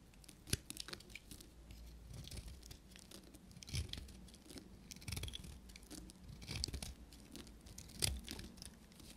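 A short metal knife blade carves and scrapes a solid, dry, pale green bar of soap, and curls of soap fall away. Soft, dry scraping and crumbly rasping are heard, with irregular crisp snaps and clicks; the sharpest land near the start, middle and end, over a low, muffled background rumble.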